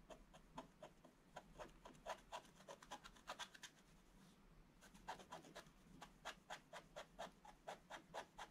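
A wooden stylus scratches and rubs the black coating off a scratch-art picture page lying flat in a book on a table, revealing the colour beneath. Quick, dry, bright scratching strokes repeat in an uneven rhythm, pausing briefly in the middle before resuming as steady back-and-forth rubbing.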